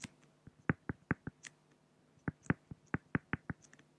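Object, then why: Pen on a flat acrylic (plexiglass) sheet. A pen makes drawing strokes on a flat, solid acrylic (plexiglass) sheet. It produces fourteen short, dry taps with a low body and a faint bright tick. The taps come in two quick runs separated by a brief pause, each one dying away almost instantly in a quiet setting.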